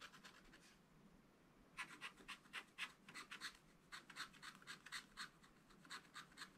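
A pointed wooden stylus held in the fingers scratches small lines into a fish drawn on a black, wax-coated scratch art page in a spiral-bound pad, lying flat on a table, revealing the colored layer underneath. A few faint strokes come first, then after a brief pause a steady run of short, dry, bright scratches follows at about four per second, each centered around 2 kHz with no ring. The scraping is quiet and crisp, with almost nothing in the low end.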